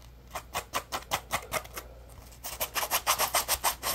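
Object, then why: Polymer foam scrub sponge. Fingertips rub and scratch the textured surface of a yellow polymer foam Scrub Daddy puppy scrub sponge held in the hands in dim light. About twenty short, bright, rasping scrapes come in two runs, with a brief lull just before the second half. The later strokes come quicker and louder over a faint low hum.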